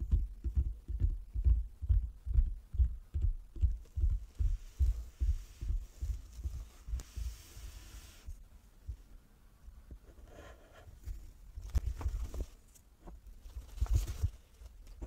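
A wooden table is tapped with the fingers, giving dull, low thumps with almost no ring. The taps come in a quick, fairly steady run for the first few seconds, then fade to a softer stretch before a few stronger taps return near the end.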